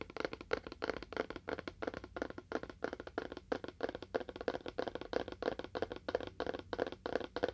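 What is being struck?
Small cardboard box with faux wood surface.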